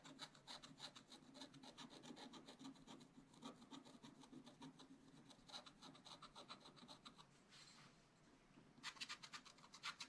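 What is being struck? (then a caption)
Coated scratch art paper scraped with a wooden stylus. A wooden stylus scratches across a black coated scratch art paper sheet lying flat on a table, making steady, rapid rasping strokes with a bright, papery hiss. The strokes soften into a quieter, smoother scrape for a moment before crisp, brighter scratching resumes.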